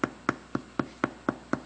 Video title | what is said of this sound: Mitos e verdades sobre os pães - Parte 2 | Você vai pegar ele e vai bater embaixo, tem que dar esse som de oco.